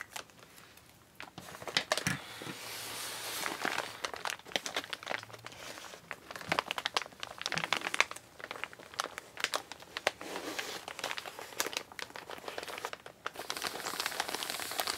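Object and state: Kraft paper mailer bag.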